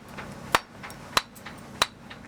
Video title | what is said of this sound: VTS 01 1 | ça sonne le creux bien sûr